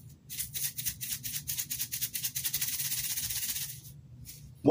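A Port Isabel seasoning container, included with a beard-product order, is shaken rapidly, its loose granular contents giving a dry, maraca-like rattle in steady pulses. The rattling fades out near the end, followed by a brief, louder low thump.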